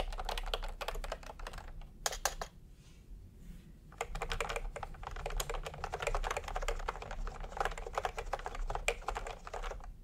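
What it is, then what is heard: Plastic keyboard being typed on. Fingertips tap steadily on a full-size plastic typewriter-style computer keyboard with round retro keycaps in peach and cream, lying on a white cloth. Quick, bright clicky keystrokes sound in dense bursts, with a short pause around the third second before typing resumes. A low hum runs underneath.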